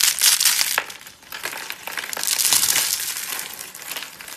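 Fingertips and thumbs press, peel and crush a palm-sized spiral rose of thin, dry, bright pink soap layers into brittle flakes on a white surface. The result is a dense run of sharp, brittle crunches and crackles, almost entirely high and bright with no low end, each snap dying away quickly.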